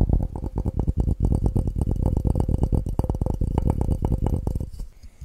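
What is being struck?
Glass cup.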